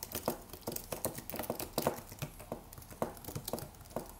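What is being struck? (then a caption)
Aluminium and plastic wireless keyboard. Fingertips of both hands type rapidly on a slim white Apple-style wireless keyboard with an aluminium body and white plastic keys, resting on a desk. An uneven run of quiet, short clicky taps with a mid-range body around 500 Hz and bright edges, each dying away almost at once.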